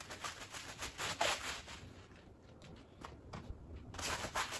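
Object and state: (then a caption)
Wet woven rug being scrubbed. A green plastic push broom scrubs a small, dirty woven fabric rug that is wet and foamy. Repeated bristly, hissing strokes carry bright, wet foam crackle, with a quieter stretch in the middle before the scrubbing picks back up.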